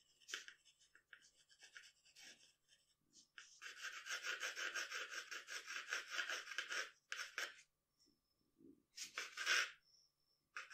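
A pencil tip scratches short sketch strokes for the facial features across a large flat sheet of drawing paper lying on a table. Dry, bright, papery scratches come in short bursts, then a long dense run of rapid strokes, then pauses before a final few louder strokes.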